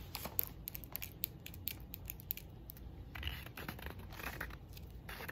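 Long decorated acrylic nails tap and scratch the lid and sides of a small hand-held cylindrical metal grinder with a rose-gold/copper finish, first on its round top and then along its side. Quick, dry, bright clicks mix with scratchy rasps that stop instantly with no ring, over a low, quiet background rumble.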